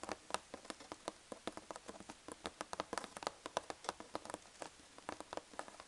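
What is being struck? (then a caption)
Corrugated cardboard box flap. Fingertips and long nails tap rapidly on the folded-over flap of a large corrugated cardboard box filled with packing peanuts. About 27 quick, dry taps land in an uneven patter, each a short papery click centered in the midrange with a slightly bright edge and almost no low end. They die away instantly against a quiet background.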